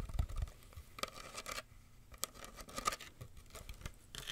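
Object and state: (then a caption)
Woven wicker basket. Long nails scratch and tap the woven rim and sides of a small, hollow, empty wicker basket with a black base, held in both hands. Soft, dry scratching rasps run under sharp, quick taps and brief bright crackles, with low hollow thumps beneath. Each tap dies away almost at once, and the sound stays quiet throughout.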